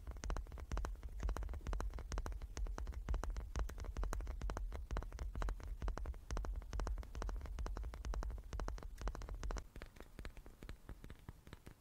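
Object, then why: Small wooden cube. A small wooden cube is tapped rapidly and unevenly, giving short, dry, low-pitched knocks with a deep thump and almost no ring. The tapping runs steadily, then turns softer and sparser for the last couple of seconds.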